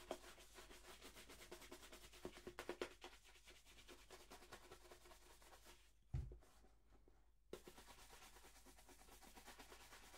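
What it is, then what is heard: Leather shoe being brushed. A black polished leather dress shoe, hollow and empty, is held in one hand and brushed briskly across its leather upper with a wooden-backed horsehair shoe brush. The rapid back-and-forth strokes make a steady, scratchy swishing rhythm with a few sharper knocks. Midway comes a louder low thump and a short pause before the brushing resumes.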